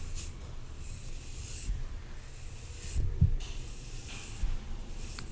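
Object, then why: Aluminium drink can brushed with a soft brush. A soft makeup brush is swept and rubbed across the side of a red Coca-Cola aluminium can held in the left hand. Quiet, airy brushing hisses come in strokes in the high range over a steady low rumble, with a few faint dull bumps in between.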